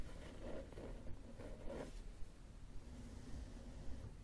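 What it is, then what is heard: Cloth-covered hardcover book. A closed, solid red cloth hardcover book lying flat on a wooden table is tapped with the fingertips and short nails of both hands. The taps come as soft, dull, scratchy bursts in the first two seconds over a faint low rumble, then fade to a quieter, muffled background.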